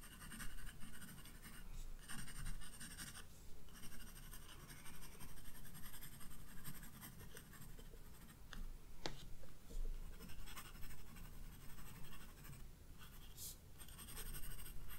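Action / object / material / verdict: scrape / paper sketchbook page under a graphite pencil / paper / none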